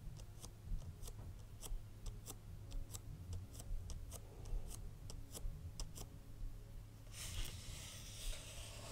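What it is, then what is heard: Cardboard perfume box. Long red acrylic nails tap and scratch the flat sides of a small, hollow, red printed cardboard Frederic Malle perfume box held upright in one hand. Crisp, bright clicking taps come in a quick irregular run over a quiet, low rumbling background. Near the end they give way to a steadier, hissy scratching across the cardboard.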